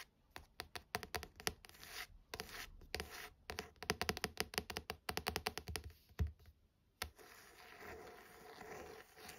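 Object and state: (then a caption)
Paperback novel with card cover. Long nails tap and scratch the card front cover of a paperback novel, making rapid, dry, clicky taps mixed with short scratches. After a brief pause comes one sharper tap, then a steady, softer scraping across the cover.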